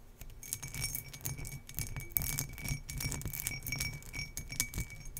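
Long nails scratch across the textured embossed pattern of an empty turquoise glass tumbler. The result is a continuous bright, crackly scraping with quick clicky bursts, a faint steady glassy tone near 2 kHz and a soft low rumble underneath.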